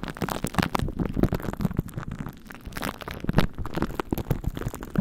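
A plastic glue stick is rubbed over and pressed onto plastic cling wrap stretched over a microphone head coated in purple glue. Repeated sticky strokes produce a dense run of close-miked, low, thumpy crackles and tacky pops that stay mostly in the low range.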